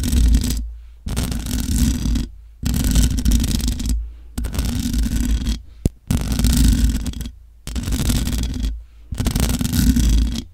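Long acrylic nails scratch the sides and top of the hollow mesh grille on a black matte metal USB desktop microphone. Seven bursts of dense, rumbling scraping are broken by short silences and one brief sharp click. The scratching comes across mostly as deep, boomy low-end texture.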